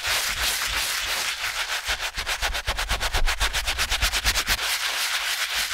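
A stiff-bristled brush scrubs the fabric upper at the toe of a wet TOMS Cloud canvas slip-on shoe resting on a towel. The result is a bright, hissing, scratchy rubbing that turns into quick, rhythmic back-and-forth strokes in the middle before settling back into a steadier scrub.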